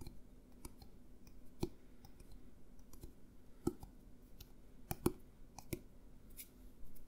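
A hollow, clear plastic drink bottle with an orange label is held sideways near the mic and tapped with fingertips and nails. The sound is a series of soft, dry clicks and light thuds over a quiet background, with a few sharper nail taps standing out. Each tap stops almost at once with no ringing.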